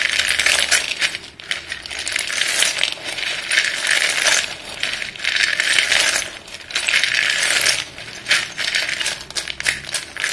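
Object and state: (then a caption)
Chalk sticks clattering. Both chalk-covered hands scoop and rub a pile of solid white chalk sticks in a dark bowl, so the sticks clatter against each other. The sound is a dense, bright, dry clatter with almost no low end, coming in continuous bursts separated by brief quieter pauses as the hands move through the pile.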